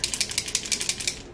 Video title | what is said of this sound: Chatty GRWM | there is a ball and you have to shake it up